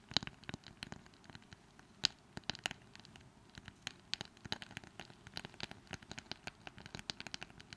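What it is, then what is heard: Small wooden brush. Long manicured nails scratch and tap the wooden surface of a small, light wooden brush with a long flat wooden handle, held close to the microphones. Quick, gentle, bright clicks and soft scratches come in an irregular, fast patter over a quiet background, each tap dying away almost instantly.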